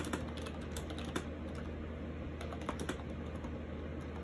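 Fingertips type continuously on a compact gray and white plastic AJAZZ 308i wireless Bluetooth keyboard with round keycaps and orange accent keys, resting on a lap. The hollow plastic keys give quick, light clicks over a low, steady hum.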